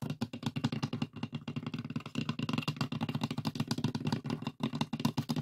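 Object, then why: Light wooden box with a metal latch. A closed, hollow, light pine wooden box with a metal latch has its lid tapped and scratched with the fingertips and nails of both hands. The result is a rapid, steady stream of short, dry, hollow knocks with a low woody resonance, mixed with faint scratchy clatter.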